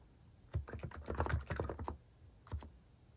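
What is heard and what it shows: Fingertips press and tap the keys of a plastic keycap mechanical keyboard while typing. A quick run of about eleven soft, deep, thocky keystrokes comes over about 1.5 seconds, followed by a pause and a final couple of taps. Each stroke is short and low-pitched, with little brightness.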